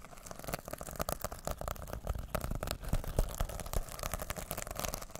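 Fingertips and nails brush and scratch back and forth over the rainbow plastic sequins of a small, soft, reversible fabric pouch held close to the mic in both hands. The result is a dense, irregular stream of crackly, rustling scrapes with quick bright clicks and a heavy low handling rumble underneath.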